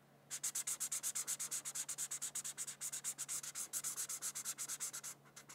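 A red felt-tip marker, held by a hand with long nails, is rubbed in quick back-and-forth strokes across a thin white paper coloring sheet. There are 42 bright, scratchy rasps at a steady, fast pace, each a short, dry burst with no ring. A faint low hum runs underneath, and the last few strokes grow softer before stopping.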